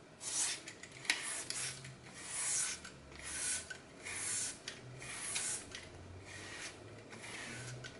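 A red-handled blade shaves and scrapes strips off the edge of a hand-sized green floral foam block, its face covered in glitter, held over a glass bowl. Bright, dry rasping strokes rise and fall in swells, with small crisp crackles as the solid foam crumbles away.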